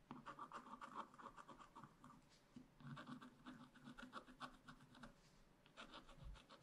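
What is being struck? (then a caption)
Wax-coated scratch-art paper scraped with a wooden stylus. A wooden stylus scratches the black wax-coated surface of a scratch-art paper page in a spiral-bound pad, working around a raccoon drawing and along the page edge. Quiet, dense, irregular scratching strokes rasp in quick succession, with a midrange papery grain and brief dry scrapes that stop almost instantly.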